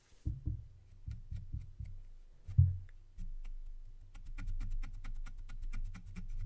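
The tip of a long, thin wooden stick held in one hand scratches a black foam windscreen on a silver microphone. Muffled, low, booming scrapes and soft thumps build to one louder knock partway through. A denser, steady run of rapid rough scratching follows to the end.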